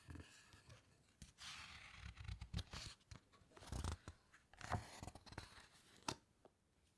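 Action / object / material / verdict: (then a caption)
scrape / hardcover book with glossy paper pages / glossy paper / none. Fingertips and long nails press and turn the glossy pages of a large open hardcover book. Soft papery swishes and crinkles mix with bright, sharp snaps as the pages flip, with low thumps from pressing the pages and quiet pauses in between.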